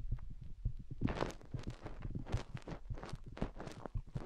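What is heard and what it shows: Long painted fingernails dig and scratch inside both openings of white silicone rubber microphone ears, making a steady run of soft, muffled low thumps and rubbing. Brief bright scratchy streaks cut through the dull, bass-heavy scraping.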